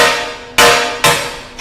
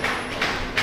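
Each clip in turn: First: float glass pane shattering under hammer blows. Second: tempered glass pane unbroken by face strikes.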